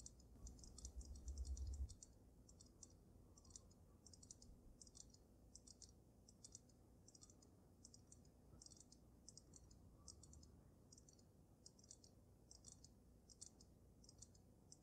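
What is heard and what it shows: Long nails rapidly tap the sides of the glass dome of a water-filled dragon snow globe, making a steady stream of quick, light, bright clicks. A louder low rumble sits under the first two seconds before the tapping continues softly over a quiet low background.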